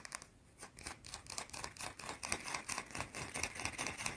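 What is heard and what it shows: Long blue-painted nails scratch and tap a small, solid, round white soap bar held in one hand. The result is a quiet, rapid, irregular stream of dry, bright scratches and crisp clicks with very little low end. Each tap dies away almost instantly.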